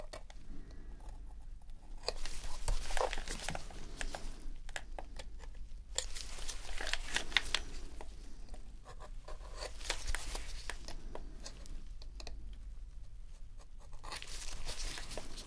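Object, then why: Plastic game controller. A metal dental pick scratches and scrapes along the grip seams of a dirty, hollow white plastic PS4 controller held in gloved hands during a deep clean. Irregular bursts of dry, bright, gritty scraping come in quick strokes, with short pauses between clusters over a faint low background hum.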